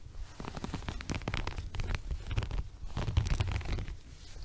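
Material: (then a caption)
Woven fabric. Fingertips and nails scratch and rub the coarse weave of a small, flexible, multicolored woven textile rug or mat held upright in front of the body. The result is a steady run of dry, rasping scratches and rustles over a deep, muffled rumble, with the rubbing swelling and easing in uneven bursts.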